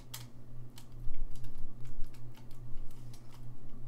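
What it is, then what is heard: Saxophone keys tapped. Fingertips tap the keys of a gold-lacquered brass saxophone, its bell in view, making soft, dry clicks with bright, brief transients. The clicks fall irregularly over a steady low electrical hum and die away almost instantly.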